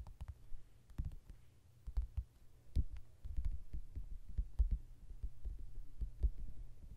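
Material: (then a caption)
Paper. Fingertips and nails of both hands tap rapidly on the glossy card cover of a softcover mandala coloring book lying flat. The result is a quiet, uneven patter of dull, low thumps, with occasional sharper, brighter nail clicks that stop almost instantly.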